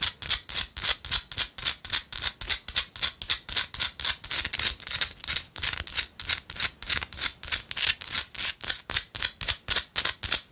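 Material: Rock salt.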